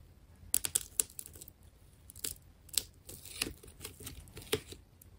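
A small metal blade cuts and scrapes through the layers of a solid wound plastic tape ball, white with black layered rings. Quiet, bright, crisp snips and scratchy tearing crackles come in irregular bursts, with a few sharper clicks standing out. Each cut stops dead with no ring.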